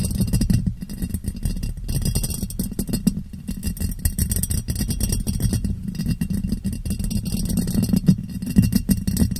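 Long painted nails tap and scratch a clear ribbed glass jar, hollow and empty, turned upside down over a microphone. The result is a dense, steady stream of quick muffled taps and scraping ticks with a boomy, hollow low tone near 184 Hz and very little high end. The level rises slightly toward the end.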